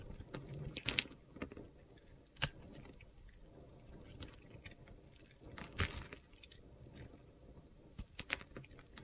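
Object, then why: Bar of soap cut with a metal knife blade. A solid light blue soap bar held in the hand is shaved with a metal utility knife blade, cutting off crunchy cube chunks. Sharp, bright crunching snaps and crackles come in irregular bursts, with quiet gritty scraping between them.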